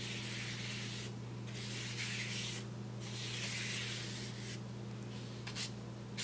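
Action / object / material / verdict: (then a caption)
scrape / kraft paper bag / paper / none. A paintbrush sweeps back and forth across a large, flat brown kraft paper bag held down with the fingertips of the other hand. It makes soft, bright, papery swishes that rise and fade in uneven strokes over a steady low hum.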